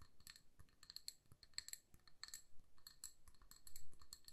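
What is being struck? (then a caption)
Glass candle jar filled with wax. Long nails tap rapidly on the sides of a hand-sized amber glass jar that is filled with candle wax and has a paper label. The taps are quiet, bright, clicky glass ticks that ring only briefly, with a low, dull undertone beneath them.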